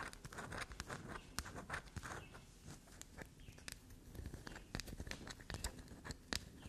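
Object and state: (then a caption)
Black soap bar. Long nails scratch and dig into the grooved, scraped face of a small solid black soap bar, leaving shavings on the table. Fast, soft, dry scratching fills the clip, broken by brief, sharp, bright clicks and scrapes. The overall level stays quiet and close.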